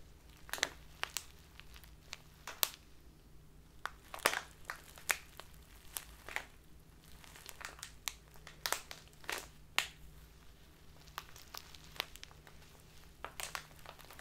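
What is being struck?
Plastic tea bag filled with loose tea.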